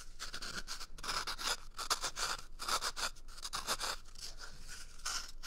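A small, empty, hollow brown cardboard toilet paper tube is scratched and squeezed with fingers and nails right at the microphone's ears. Irregular bursts of dry, scratchy, squeaky noise come one after another, with a hollow tone around 1.2 kHz and bright hiss above it.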